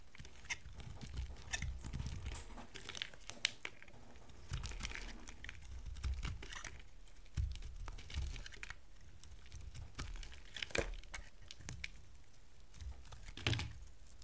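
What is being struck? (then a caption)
Bar of soap cut with a knife blade. A utility knife blade carves a small, solid piece of dry yellow soap. The result is a series of dry, crinkly, crunching scrapes and short, sharp clicks over a low, soft rumble, each cut stopping almost at once with no ring.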